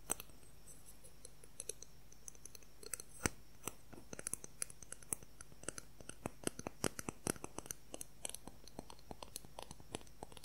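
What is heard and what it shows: A long, thin, transparent plastic ruler held in both hands is tapped and scratched quickly with fingertips and nails. This produces a rapid, irregular stream of short, sharp, bright clicks with almost no ring, over a faint steady low hum.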